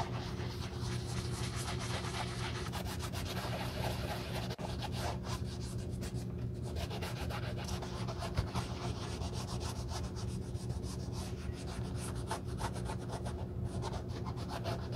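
A navy cloth wrapped over gloved fingertips is rubbed across the upper of a black leather slip-on sneaker with elastic straps and a cream rubber sole, while a black-gloved hand is held inside the hollow shoe. Steady, soft rubbing and brushing strokes run continuously over a low, humming bed, with faint background music possibly layered in.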